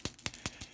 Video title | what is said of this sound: Fall Thanks Card Using Distress Sprays | there's a little ball in there you can hear it